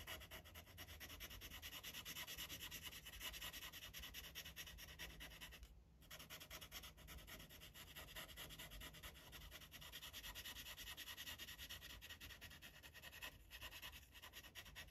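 A gold Sharpie felt-tip marker rubs in dense, short strokes over a thin white coloring-book page lying flat. It makes a steady, bright, scratchy rubbing with a rapid back-and-forth rhythm. The rubbing briefly dips quieter around the six-second mark before continuing.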